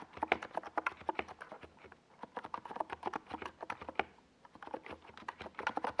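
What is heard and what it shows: A small 68-key NiZ Plum Atom 68 mechanical keyboard with a white plastic case and purple and yellow Domikey Gas Attack SA plastic keycaps, resting on a desk pad, is typed on continuously with fingertips. Quick, dry clacks follow one another in bursts, with midrange thock and brief high clicks. Short pauses fall near two and four and a half seconds.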